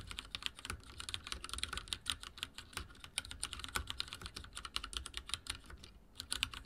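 Fingertips of both hands type rapidly on a full-size backlit mechanical keyboard with dark plastic keycaps and linear switches, resting on a wooden desk. A steady stream of short, bright, clicky taps patters along with almost no ring, forming a fast, continuous typing rhythm.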